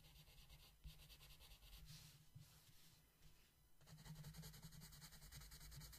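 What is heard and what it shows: A yellow wooden colored pencil is rubbed across a flat paper coloring book page in steady back-and-forth shading strokes. The soft, quiet scratching has a bright papery hiss over a constant low hum. The strokes grow louder and denser in the last couple of seconds.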